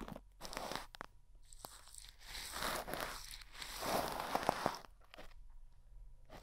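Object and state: Plastic cling wrap over a microphone, brushed.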